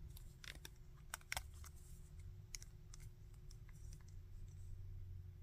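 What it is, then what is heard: Plastic action figure joints clicking. Fingertips rotate the arms and handle the body of a small hard-plastic Bardock action figure held in both hands, producing a scattering of quiet, sharp joint clicks and light plastic ticks. The clicks are short and bright and stop almost instantly, over a steady low hum and a faint constant tone.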